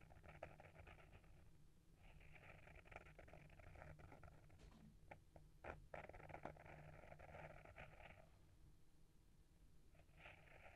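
Fingertips and nails scratch and tap the textured purple cloth cover of a small, solid hardcover book, "A Little Bit of Dreams," with gold foil print, held in one hand. Soft, rasping scratch strokes come in bursts separated by short pauses, with a few sharper taps near the middle, all over a low steady hum.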